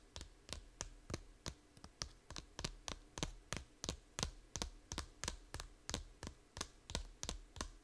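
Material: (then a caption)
Plastic. Long nails tap the edge and cover of a small, hollow plastic 3DS game case held sideways, giving a steady run of about 24 short, dry clicks. Each tap is crisp and bright with a faint hollow knock underneath and dies away almost instantly. The taps come a little unevenly but keep a fairly even pace throughout.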